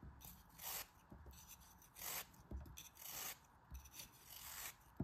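A metal utility knife blade scrapes and slices through a small, solid pink kinetic sand block held in the fingers. Repeated gritty, rasping strokes with a bright hiss rise and fade over quiet pauses, with soft low thuds in between.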